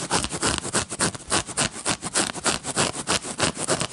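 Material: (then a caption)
Paper card. Fingertips and short nails scratch and tap the face of a small red-backed paper playing card deck with a dotted back pattern, held up close. Around eighteen quick, bright, papery scratch-and-tap bursts repeat in a loose, steady rhythm of about three per second. Each is dry with almost no ring.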